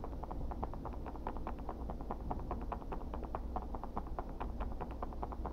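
Gloved fingertips tap and scratch the textured surface of a flat, dark-grey, rigid thermoplastic (Kydex-style) knife sheath, about 20–25 cm long, with eyelet holes and slots. A rapid, irregular stream of short, dry clicks peaks in the midrange around 700 Hz to 1 kHz, over a steady low rumble.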